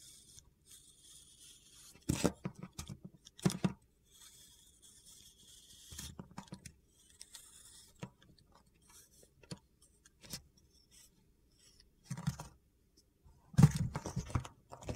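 A metal utility knife blade scrapes across a solid, soft blue bar of soap held in the palm, cutting off flaky slabs. The result is a series of short, dry, crunchy scraping bursts, mostly low in tone, with quieter gritty rasps between them and louder cuts near the start and end.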